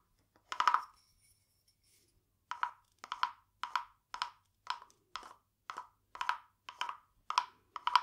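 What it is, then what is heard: Wooden frog guiro. A small hollow carved wooden frog guiro, painted glossy green with a ridged back, is held in one hand and rubbed and tapped along its ridges with a green wooden stick. One longer rasping scrape is followed by a pause, then a steady series of short, dry, woody rasps centered around 1 kHz. Each stroke has a quick clicking texture with bright edges and almost no ring.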